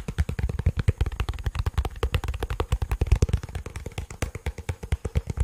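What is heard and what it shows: A black, cylindrical, hollow plastic portable bluetooth speaker is held above the microphone and tapped and scratched with fingertips and nails. A fast, steady run of around 40 short, dull, deep knocks is heard, each dying away almost instantly, with faint scratchy brightness between them. The sound stays heavy and low, with very little high content.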